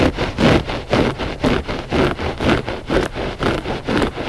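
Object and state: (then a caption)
Looped carpet rug. Short fingernails of both hands scratch the pile of a flat gray loop-pile textile rug, which is solid and soft. The result is a steady, rhythmic rasping of back-and-forth strokes, about two per second, with a dry, papery texture concentrated in the low-mids and little brightness.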